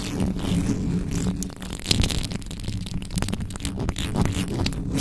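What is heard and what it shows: Fingertips and long nails scratch fast and hard across the top of the hollow metal mesh head of a black condenser microphone with no cover. The result is a dense, continuous low, rumbling scrape with quick bright crackles flicking through it.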